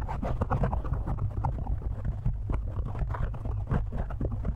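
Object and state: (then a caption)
Foam microphone windscreen. Both hands tap and scratch quickly with the fingertips on a black foam windscreen fitted over a microphone. The result is a dense, continuous run of muffled, low, boomy thumps and soft rustling scratches with almost no high-end brightness.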